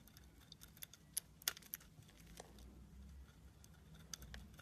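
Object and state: Soap bar being shaved with a blade.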